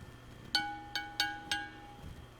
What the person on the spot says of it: it's going to want to ring it's a big big Bell being cast iron being bolted down solid